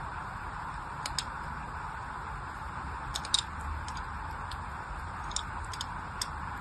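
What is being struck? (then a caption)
Bar of soap. A small black blade tip scratches and scores criss-cross lines into the surface of a palm-sized solid orange soap bar held in one hand. Short, bright, crisp scraping ticks come in scattered clusters over a steady, quiet hiss, each dying away almost instantly.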